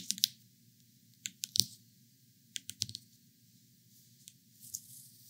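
Long painted acrylic nails tap and scratch across the hard, smooth rind of a large, whole, uncut yellow spaghetti squash, solid and dense, lying on a bamboo cutting board. Sharp, bright clicks come in irregular clusters with brief scratchy bursts, each dying away almost instantly, over a faint low hum.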